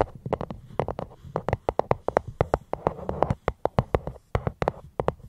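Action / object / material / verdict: tap / fruit box / unknown / none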